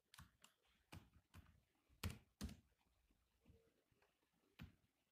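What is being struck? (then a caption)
Laptop keyboard, plastic keys. Fingertips tap the black plastic keys of a grey laptop keyboard in irregular typing. Eight short, distinct clicks with soft, low-heavy thuds and brief bright ticks, two in the middle landing louder than the rest, each dying away almost at once.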